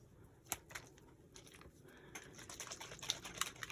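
A mica spray bottle of Aspen Gold paint is shaken to mix the settled mica, and the little mixing ball inside rattles, which shows the spray needs shaking up. The sound is quiet, bright, irregular clicking with very short, dry hits that grow busier toward the end.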